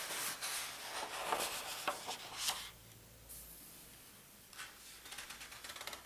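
Fingertips lift and turn the thin paper index pages of a large open paper atlas, making bright, crisp rustles and flicks through the first two and a half seconds. A near-silent pause follows, then softer paper rustling resumes toward the end.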